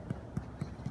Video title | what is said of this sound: What Causes Bloating in Cyclura Iguanas? | you can actually palpitate where I would stick that needle, because it sounds hollow there